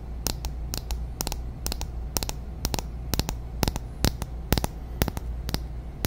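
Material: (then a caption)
Glass. A small glass foundation bottle filled with beige liquid, with a shiny silver cap, is held in the hands and tapped and scratched with long natural nails on the glass and the cap. Sharp, bright clicks and taps, some in quick pairs, come at an uneven pace over a steady low hum and faint scratchy noise.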